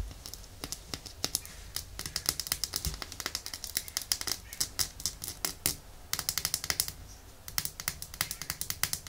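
Long nails tap rapidly on the glass body of a small, thick glass bottle full of red nail polish, held by its white plastic cap. The result is a quick run of dozens of sharp, bright, high-pitched clicks that die away almost instantly, with a brief pause before the tapping resumes.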